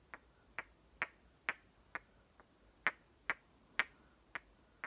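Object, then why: Two hollow plastic toy watermelon halves. Two hollow green plastic halves of one small toy watermelon, one held in each hand, are knocked and clicked together at the rims. Eleven sharp, dry clicks sound quietly at an uneven pace, each bright around 2 kHz and dying away almost instantly.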